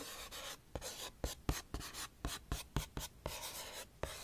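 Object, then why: Small printed cardboard box. Long painted nails tap and scratch a small, hollow, printed cardboard Nature's Bakery oatmeal crumble box held in both hands close to the mic. About a dozen sharp, hollow taps land at an uneven pace over a steady scratchy rustle.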